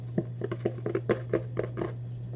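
Fingernails scratch and rub across the printed surface of a hollow Vans cardboard shoebox held in both hands, making about ten short, dry, papery taps and scrapes with a hollow mid-range body. A steady low hum runs beneath throughout.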